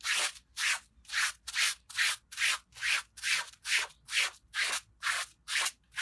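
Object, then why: Fabric pile rug scrubbed with a plastic bristle brush. A gloved hand scrubs a small, dirty red patterned pile rug, wet with foam and lying on a concrete floor, using a green plastic bristle brush. About fifteen rhythmic, evenly paced scratchy rubbing strokes are heard, each a bright, hissy swish centered in the mid-to-high range with no low-end weight. Each stroke fades quickly into a short pause before the next.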